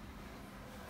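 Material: Nothing is struck.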